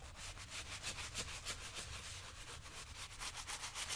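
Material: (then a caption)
Leather. A worn brown leather lace-up work boot, worn on a foot on a shoe-shine stand, is brushed back and forth by hand with a wooden-handled horsehair brush. The result is a steady run of bright, hissy brushing strokes, about three per second, with a low rumble underneath.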